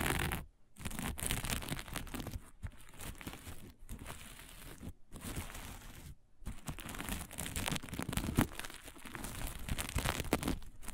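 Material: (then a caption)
Plastic sequins. Long natural-colored nails scratch and rub a flat sheet of dark sequin fabric with plastic sequins lying on a table. The result is a dense, fast crinkling and rustling scratch with a full low body and bright crackly edges, broken by a few brief silent pauses.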